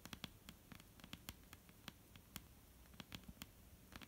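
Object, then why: Wooden tabletop. Long almond-shaped painted nails tap a flat, solid dark-brown wooden tabletop in an irregular run of about seventeen quick taps. Each tap is a short, dry click with a low woody knock underneath and a bright tick on top, and it dies away almost instantly over a faint steady hiss.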